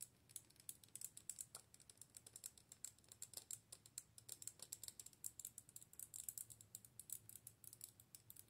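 Long nails tap and scratch a hollow, clear plastic light-up orb with LEDs inside, mounted on a dark plastic handle. The result is a rapid, steady stream of short, bright, high-pitched clicks and scratches that die away almost instantly, with very little low end.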